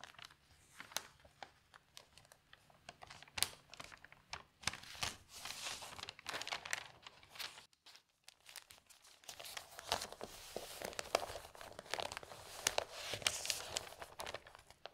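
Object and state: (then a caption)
Newsprint newspaper pages being handled. An open newsprint newspaper is spread on a table, and fingertips and long nails lift, turn and smooth its thin pages. The result is soft, bright crinkling and rustling in dense, overlapping bursts, with a brief quiet pause just before the eighth second.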